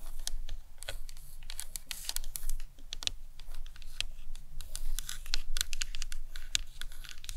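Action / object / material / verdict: tap / plastic anatomical skull model / plastic / none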